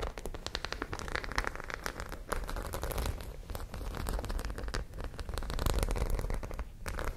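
Long nails scratch rapidly across the studs of a white fabric pouch covered in studs, which lies flat and is likely empty. The result is a dense, continuous stream of crisp clicks and crackly scratching, with a steady low rumble underneath throughout.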